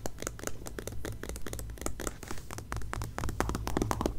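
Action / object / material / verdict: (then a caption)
scrape / glossy paper magazine cover / coated paper / none. Long painted nails scratch and tap the glossy, coated back cover of a closed magazine lying face up on a grey blanket. Quick, uneven bursts of dry scratching and light tapping run throughout over a steady low hum.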